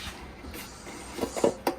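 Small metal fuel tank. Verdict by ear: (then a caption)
Empty. The metal gas tank of an adult-size one-seater Murray go-kart, whose engine has a dirty carburetor, is handled and gives off a few short, midrange hollow knocks over a quiet background. The tank sounds empty, and it turns out to be dirty inside and in need of cleaning.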